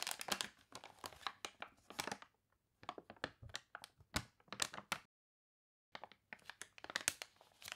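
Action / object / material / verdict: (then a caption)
scrape / paper catalog pages / paper / none. Long nails scratch and fingers rub across the water-wrinkled pages of an open paper catalog, with a page turn. The result is bright, crisp crinkling and scratching in quick bursts. Two brief silent gaps break up the bursts.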